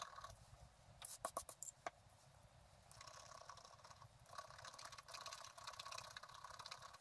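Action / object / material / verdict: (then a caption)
scrape / coated scratch-art card scratched with a wooden stylus / coated card / none. A wooden stylus scratches the coating in the upper area of a coated scratch-art card lying on a table. A quick run of sharp, bright scratch strokes comes early on, followed by quieter, steadier rasping with a hissy, bright texture that swells again in the second half.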